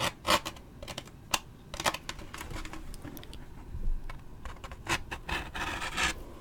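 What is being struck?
Waxed paper drink cup.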